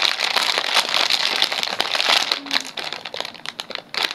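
A small sealed Poppitos nacho chip bag made of shiny metallized plastic film and full of chips is held in both hands and crinkled and squeezed with the fingertips. Dense, bright crackling and crinkling runs throughout, with sharp snaps over a hissy high-frequency wash and almost no low end. The crinkling eases slightly toward the end before a final burst.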